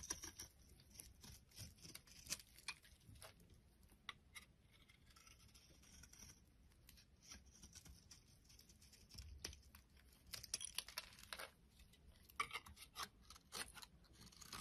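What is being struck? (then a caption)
Soap bar scraped with a knife blade. A utility knife blade scrapes and carves the face of a solid oval pink soap bar held in the palm, peeling flakes and shavings onto a wooden surface. Quiet, bright scraping strokes and crisp cuts repeat throughout, with occasional sharper carving bursts over a soft low background.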